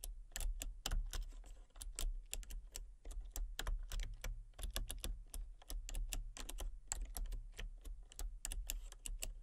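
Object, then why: Plastic computer keyboard. Fingertips with long painted nails type rapidly on a full-size, backlit plastic RGB computer keyboard with hollow key switches and colour-cycling lights. Crisp, bright clicks and clacks come in quick, uneven bursts with short pauses. A steady low hum sits underneath throughout.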